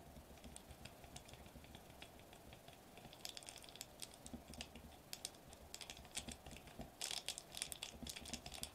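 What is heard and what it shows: Fingertips with short nails tap rapidly on a sheet of foil-laminated plastic bubble wrap lying flat on a table. They make quick, dry, bright clicks with almost no ring over a faint steady low hum. The tapping grows denser after the first few seconds, with a brief louder flurry near the end.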